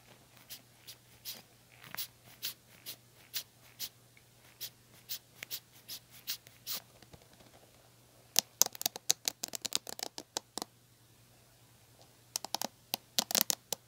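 Long nails strum and scratch the plastic bristles of a red plastic paddle hair brush resting on a black cushion. Soft, evenly spaced scratchy strokes come first, then a quick run of louder, bright, crackling flicks, a short pause, and a final burst of flicks. A faint low hum sits steadily underneath.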